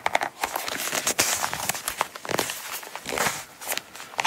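Long, pointed, pearly nails tap and scratch a small, closed Coach wallet in dark brown coated canvas with a red star print, held in the hands. Quick, dry clicks mix with bright, papery crinkling and scratching, possibly from the coated surface. There is almost no low end, and each sound stops instantly with no ring.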